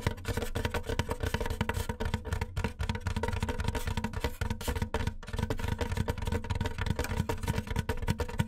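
Fingertips and nails of both hands tap quickly on the top edge of a large, white, hollow styrofoam box. The result is a steady, rapid patter of short, dry, hollow thumps with a low, boomy body near 98 Hz and a faint light click on top, each tap dying away almost instantly.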